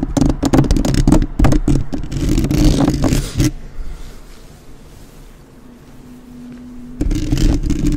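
Long nails rapidly tap and scratch all around the metal mesh grille of a black, uncovered microphone with both hands, producing dense, thumping, low-heavy clicks and scrapes. Midway the tapping stops, leaving a quiet low rumble with a faint steady hum, before the fast tapping starts again near the end.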